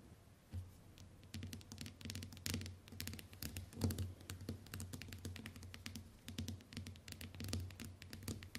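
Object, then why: Smartphone glass screen. Long white nails tap rapidly with both hands on the glass screen of a small, flat smartphone lying on a wooden table. The taps come as quick, bright, clicky patters in uneven bursts over a steady low hum, with each click dying away almost at once.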